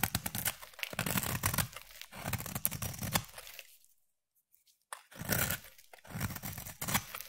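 A utility knife blade scrapes and shaves the surface of a solid pink round bar of soap, producing dense, crisp rasping and crumbly tearing sounds with a bright, hissy top and a soft low thud beneath. The shaving runs in bursts for about four seconds, falls nearly silent for a moment, then resumes in a few more scraping strokes.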